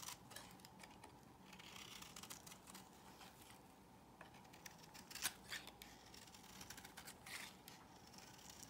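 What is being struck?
Soap bar scraped with a metal blade.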